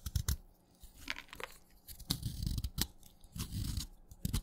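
A craft knife shaves curls from the side of a solid, wet, light green chalk stick. Repeated short, crunchy scraping cuts come in quick bursts, each with a bright, crisp edge over a dull, low-heavy body. The cuts stop sharply with almost no ring between strokes.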